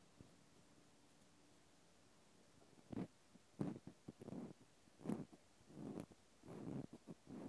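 A cotton swab scratches the flat end of a small, solid natural cork stopper. After about three seconds of faint hiss, soft, dull scratching strokes come in short, uneven bursts. They are low and muffled, with little brightness.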